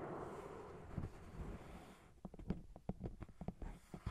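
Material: Paper.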